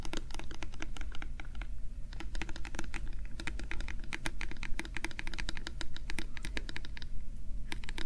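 A small, translucent, hollow plastic bottle with a label is scratched and tapped rapidly with fingernails and fingertips. It makes a dense, steady stream of short, bright clicks and scratchy taps over a constant low hum.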